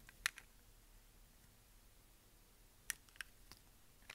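A utility knife blade shaves curls off the edge of a brown, translucent, solid bar of dry soap. Six short, crisp, bright cuts and clicks stand out against a quiet background, each dying away almost instantly.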